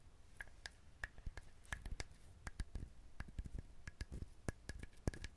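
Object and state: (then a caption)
Dried husked coconut. A whole, hand-sized, dried brown fibrous husked coconut with a hollow-sounding shell is held in both hands near a binaural microphone, and fingernails scratch and tap at it. Many quick, dry, clicky taps land in an irregular rhythm over a soft, low, rustling scratch. Each tap dies away almost at once.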